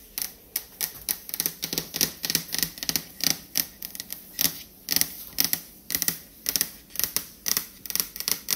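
Long acrylic fingernails fast-tap a large dark stainless steel refrigerator door, a flat panel over a hollow appliance with a paper item stuck near its top. The result is a steady run of sharp, bright, clicky taps, mostly high-pitched, with almost no low end and each tap dying away almost instantly.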